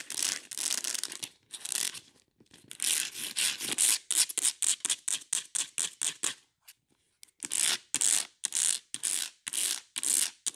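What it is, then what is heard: Plastic plant pot. Long nails tap and scratch the ridges of a ribbed beige plastic plant pot holding an aloe plant and soil. Fast, uneven bursts of bright, dry scratching follow one another with almost no low end, then briefly pause before resuming.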